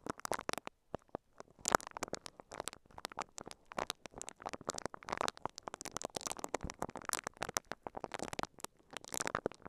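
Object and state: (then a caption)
Plastic-wrapped microphone. A microphone covered in clear, crinkly plastic wrap is brushed and scratched with the bristles of a pink silicone scalp massager held in both hands. The result is a dense, continuous stream of quick, crisp crinkling and scratching bursts with little low end, spreading from the midrange up into bright highs.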